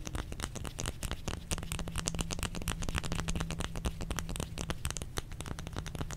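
A solid white bar of soap, held in both hands, is tapped and scratched with the fingernails. A rapid, continuous run of short, crisp clicks and scraping strokes sits over a dull low rumble, with a faint steady low hum underneath.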